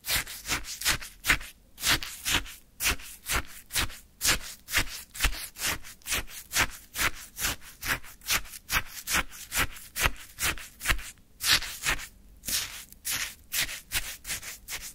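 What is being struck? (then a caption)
Frozen sherbet in a paper cup, scraped with a wooden stick. A wooden stick stirs and scoops icy orange sherbet in a small paper cup full of it. About 28 bright, crunchy scraping strokes repeat at a steady but uneven pace, each a short gritty burst of icy crackle with little low end.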